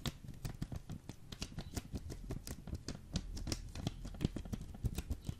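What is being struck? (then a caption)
Foil vacuum-packed coffee bag. Fingertips rapidly tap and scratch a full, hard Jacobs coffee vacuum pack in a green foil wrapper, then hold it close to the mic. The result is a fast, uneven stream of short, dry taps with a dull low thump, mixed with faint bright crinkly scratching.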